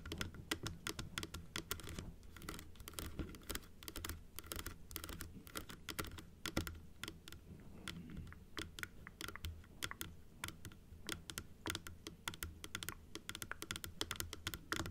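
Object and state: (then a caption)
Plastic dental teeth model. Long acrylic nails tap on a closed, hollow plastic dental teeth model held in both hands, striking its blue plastic top and the front teeth. Quick, dry clicks with short, bright ticks follow one another rapidly for the whole clip over a steady low hum, with no ringing after each tap.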